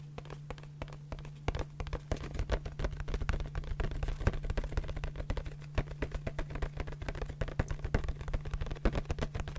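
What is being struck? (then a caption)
Small cardboard box. Long nails tap a small, hollow, printed yellow cardboard candy box held close to the microphone. Rapid, irregular, dry, short taps with little ring sound over a steady low hum.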